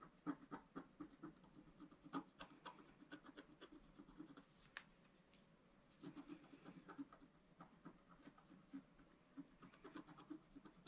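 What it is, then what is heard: Scratch-art paper being scratched. A wooden stylus scratches near the bottom edge of a black-coated scratch-art card lying flat on a table and held by one hand. Quick, dry, raspy strokes come in a steady run, with a quieter stretch in the middle before the scratching picks up again.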